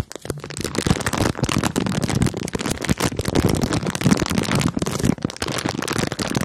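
A clear plastic bag full of marshmallows is held in both hands, squeezed and scratched with long nails. It gives a dense, continuous crinkling crackle with a soft low thud beneath and a bright edge, steady for about six seconds with only brief dips.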